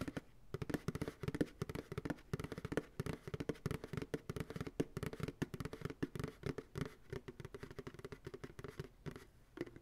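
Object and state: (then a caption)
Plastic ice cream pail. Fingertips and nails tap rapidly on the bottom of an empty white plastic ice cream pail resting on a lap. The irregular run of quick, dry taps produces a hollow, low-mid tone around 285 Hz, and each tap dies away almost instantly.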